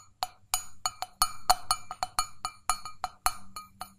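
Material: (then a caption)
Stainless steel. An empty, hollow stainless steel mug, tipped sideways, is tapped on its base and sides with long fingernails. Seventeen quick, separate clinks ring out, each with a metallic tone near 740 Hz and 1.2 kHz and bright overtones. Each decays almost instantly.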